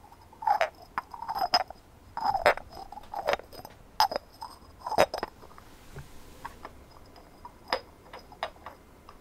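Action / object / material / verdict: tap / textured ceramic ornament / ceramic / none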